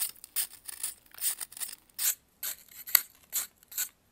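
A metal knife scrapes powdery shavings off a solid white pressed baking soda block held in blue-gloved hands. The clip is a series of short, dry, bright scraping strokes with brief pauses between them. One stroke near the middle ends in a sharp, crisp click.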